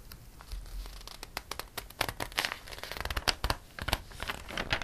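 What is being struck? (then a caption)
Glossy paper catalog. Fingers lift and flip a page of a glossy paper catalog, then a flat palm rubs across the page. The result is a run of crisp, bright crinkles and rustling snaps over a soft, low papery rumble.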